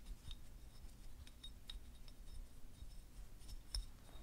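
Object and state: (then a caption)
Selenite crystal wand. Fingertips and short nails scratch and tap along the ridged surface of a small, solid, white, translucent selenite (gypsum) wand, about hand length, held in both hands while rings are worn. Quiet, dry scratching is broken by brief, bright clicks and tiny ticks that die away almost instantly. A steady low rumble sits underneath throughout.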